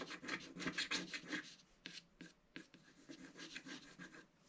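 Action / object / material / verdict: scrape / wax-coated scratch-art paper and wooden stylus / coated paper / none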